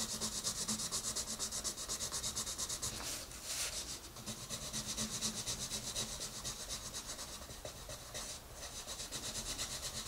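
A green colored pencil is rubbed back and forth on an open paper coloring book page to color a rabbit. Steady, bright, papery scratching strokes repeat at an even rhythm, with a few airier, louder swipes along the way.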